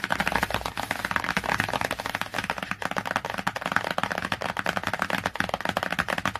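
Fingertips and long nails tap rapidly on the glossy laminated cover of a cardboard hardcover book. The clicky taps come fast and unevenly, mixed with a scratchy rustle. Each tap is short and dry, with a midrange tone near 930 Hz and some bright detail, and dies away almost at once.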